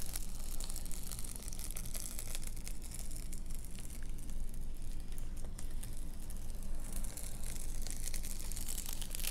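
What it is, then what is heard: Reflective bubble-foil car sunshade. Long nails scratch across the crinkly quilted foil of a large reflective, metallized bubble-foil car windshield sunshade lying flat on a table. The result is a continuous dense crinkling and scratching texture over a steady low hum, with brighter bursts near the start and end.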